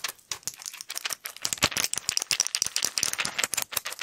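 A flat pill blister pack of plastic bubbles with a foil backing is held close and quickly tapped, scratched and crinkled by fingers and nails. The result is a dense, rapid stream of sharp, bright clicks and crackles with almost no low end, each snap dying away instantly.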